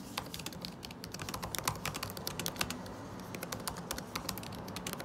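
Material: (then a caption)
Plastic. Fingertips, one wearing a ring, type fast on a MacBook Pro butterfly keyboard with plastic keycaps set in an aluminum body. A rapid, steady stream of short, crisp, bright clicks and taps plays over a low, continuous background rumble, each keystroke dying away almost instantly.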